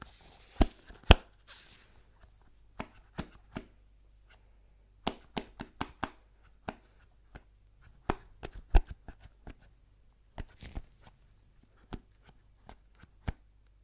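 Gloved fingertips tap and rub a small, hollow white cardboard Apple product box. Sharp, dry taps come in irregular bursts and die away almost instantly, with soft rubbing and scratching near the start. A faint low hum sits steadily underneath.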